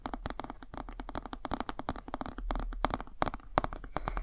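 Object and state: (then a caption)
Cardboard board book tapped. Fingernails tap quickly along the page edges and glossy cover of a cardboard board book, making a dense run of short, dry clicks. The taps are sharp and close together with almost no ring, some landing louder than others near the end.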